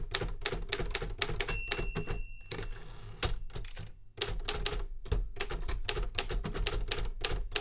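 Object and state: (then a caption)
Metal manual typewriter. A metal Remington Super Riter manual typewriter is typed on with fingertip strikes to the keys, producing a rapid run of sharp, bright clacks over a low, thudding body. Midway the typing thins into a quieter stretch with faint sustained high tones before the dense strikes resume to the end.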